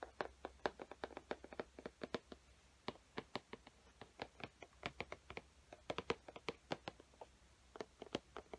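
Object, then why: Cardboard box. Long painted fingernails scratch and tap across the printed front of a large, flat, hollow cardboard Sharpie limited-edition box held upright. A quiet, irregular stream of dozens of short, dry clicks comes through, each with a hollow midrange body and a bright edge. The taps die away instantly with no ring.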